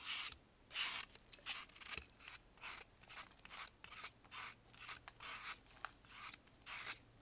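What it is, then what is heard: Pressed baking soda block scraped with a knife. A metal knife scrapes and carves a solid white pressed baking soda block held in blue gloves. It makes a quiet series of short, bright, gritty scraping strokes at an uneven pace, with brief silences between them.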